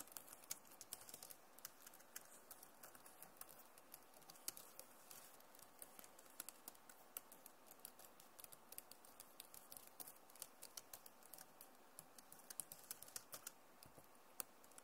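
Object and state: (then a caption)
Plastic laptop keyboard. Both hands type fast on a backlit Acer laptop keyboard with plastic keys, producing a quiet, steady patter of sharp, bright clicks. Each tap dies away almost instantly over a faint hiss, with occasional louder keystrokes standing out from the rapid run.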